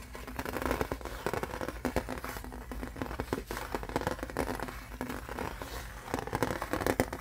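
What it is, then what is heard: Aluminum license plate. Fingertips and nails tap quickly on a thin embossed aluminum license plate, silver side facing out. The result is a dense, crackly run of light metallic taps with a faint ring around 258 Hz and little bright content. A steady low hum sits underneath the whole clip.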